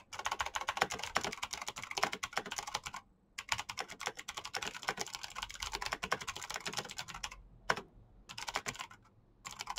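Both hands type fast with their fingertips on a black plastic backlit mechanical keyboard, making a dense stream of sharp, bright, clicky key taps. The typing pauses briefly around the three-second mark and again near the end before resuming.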